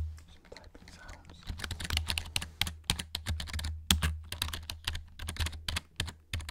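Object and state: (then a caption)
Plastic keyboard keys tapped. Fingers and nails tap quickly on the keys of a black plastic backlit gaming keyboard held up close. The result is a rapid, uneven run of sharp, bright clicks and clatters over a steady low hum, with each tap dying away almost instantly.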